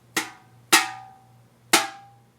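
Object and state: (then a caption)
Empty aluminium can ringing. An empty aluminum beverage can is thumped three times, each sharp, bright tap followed by a short metallic ring that holds a steady tone around 750 Hz. It rings because its resonant frequency is audible, much like thin trunk sheet metal that rattles.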